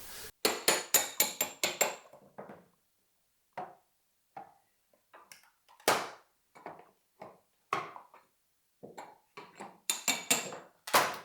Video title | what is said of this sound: Réparer un parquet massif après un dégât des eaux. | je sonde pour savoir à peu près jusqu'où c'est décollé